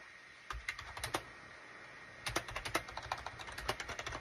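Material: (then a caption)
Plastic. Fingertips type on a full-size gray and cream SHIPADOO K600 wired USB keyboard, with a hollow plastic case, resting on a desk mat. A short burst of crisp, clacky keystrokes is followed by a pause, then a longer, denser run of quick taps, each click dry and bright with almost no ring.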